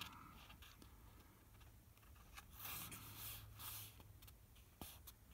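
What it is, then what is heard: Paper book page being rubbed. Fingertips slide and rub across the printed paper page of an open hardcover book at its "Table Games" chapter. Soft, dry scraping swells into brighter, hissy rubs in the middle, with a few faint ticks, over a steady low hum.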